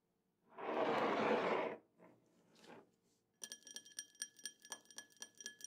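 A drinking glass is tapped: after a loud broadband hiss for about a second and a couple of faint softer sounds, a quick run of light taps produces bright, ringing clinks with high tonal overtones that fade fast between strikes.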